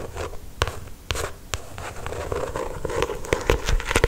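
Long acrylic stiletto nails trace, tap and scratch across the glossy paper cover of a solid paperback novel. Dry, papery scratching and rubbing is broken by sharp, bright taps that die away almost instantly, with a dull low thump under each one.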